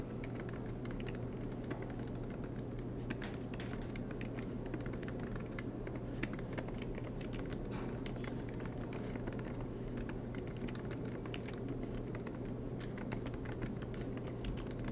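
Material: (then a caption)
Plastic. Fingertips tap steadily on the black plastic keys of a MacBook Pro aluminum laptop, producing a continuous stream of soft, quick clicks with brief bright ticks. A steady low hum sits underneath the typing throughout.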